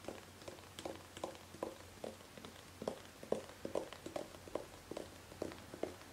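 A gold metallic aerosol hairspray can with a nozzle, hollow and held horizontally, is tapped with long painted fingernails. About seventeen quick, light taps each give a short, bright metallic tick with a brief hollow ring around 540 Hz, in an uneven rhythm over a faint low hum.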